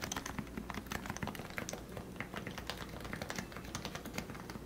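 Fingertips type steadily on the keycaps of a compact, lubricated plastic Leopold FC660C Topre keyboard with 45 g switches. A quick, continuous stream of soft, muted keystrokes follows, each with a short low thock and very little ring.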